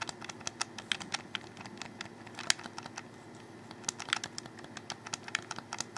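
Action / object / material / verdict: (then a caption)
tap / plastic game controller / plastic / none. A black, hollow plastic Xbox 360 controller is held close as fingers click and tap on it. Dense bursts of short, bright plastic clicks with almost no ring come in uneven flurries, with a quieter stretch near the middle. They sit over a faint low hum.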